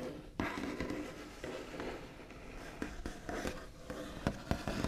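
The backs of long nails tap rapidly on a solid, flat, white-finished wooden tabletop, with soft scratchy rubbing between the taps. Each tap is a sharp, dry knock with a low, woody body that dies away almost at once.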